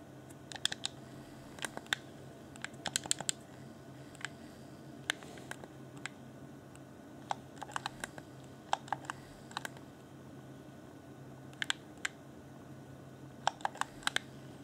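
A fingertip taps and clicks the face buttons and hollow shell of a clear, pink-glowing transparent plastic Xbox One Afterglow game controller. Sharp, bright plastic clicks and ticks come in irregular clusters, each dying away almost instantly, over a faint steady low hum.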